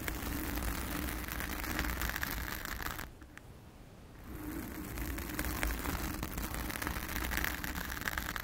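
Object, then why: Foam microphone windscreen. Long acrylic nails of both hands scratch the blue foam windscreen on a round studio microphone, making a dense, rustling crackle with a deep rumble and bright hiss. The scratching dips to near-quiet for about a second partway through, then picks up again just as thick.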